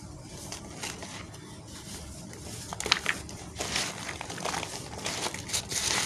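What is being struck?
Cement lumps and powder crushed by hand.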